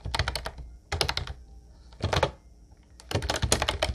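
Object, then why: Plastic keyboard with round keycaps. Fingertips of both hands tap keys on a full-size, light blue plastic Ubotie wireless keyboard with round white typewriter-style keycaps and a hollow body. Short bursts of rapid typing come with brief pauses between them: hollow, low-thudding clacks topped by bright clicks that die away almost instantly over a faint steady high hiss.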